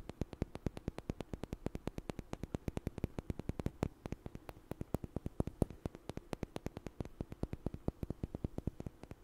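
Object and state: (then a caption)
Small wooden blocks knocked together. Two small, solid, light wooden blocks are knocked together and tapped with fingers in front of a microphone. The result is a steady, rapid run of about 77 short, dry clicks with almost no ring, over a faint constant hiss.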